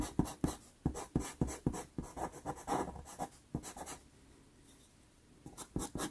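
A wooden-cased dark pastel pencil held in the fingers makes rapid scratching strokes on a small 4.5 inch square of sanded Pastelmat paper, a solid thin sheet taped flat to a board, while shading the outline of an eye. About 18 short, dry, bright scratches come in quick bursts with a low papery body. A quiet pause follows before a few final strokes.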